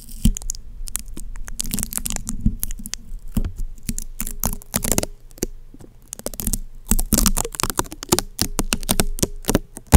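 Long painted fingernails of both hands scratch and tap the hollow metal mesh grille on top of a black Blue Yeti USB microphone. Dense, crackly scratching mixes with quick, bright tapping clicks over a low, steady hum. Each tap dies away almost at once.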